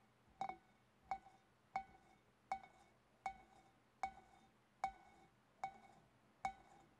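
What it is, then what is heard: Empty glass fish bowl. Long painted nails tap the sides, then the front, of a large, clear, empty glass fish bowl. Nine quiet, evenly spaced taps each give a short, bright glassy clink around 770 Hz that fades quickly.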